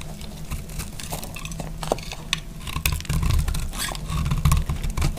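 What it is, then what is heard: Dry bar soap. A solid green marbled dry bar of soap, held in the hand, is cut with a utility knife blade, producing crunchy, scraping slices. Sharp, dry crackles and bright scrapes ride over a steady low rumble and grow louder and denser toward the end.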